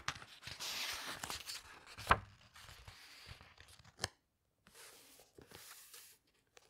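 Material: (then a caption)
Paper. Hands with long nails flip over the glossy paper pages of a large hardcover book. Soft papery swishes and rustles are broken by two sharp, bright page snaps, with quiet gaps between the turns.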